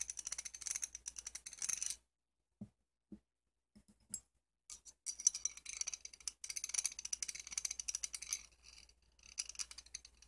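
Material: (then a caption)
Steel. A thin screwdriver shaft is rubbed and scraped around inside the box-end ring of a small solid chrome steel combination wrench (size 14), held upright over a red bandana. Bursts of fast, bright metallic scraping and rattling come in two main stretches with a near-silent gap of a few soft taps between them. Nearly all the energy is high and the ticks die away almost instantly.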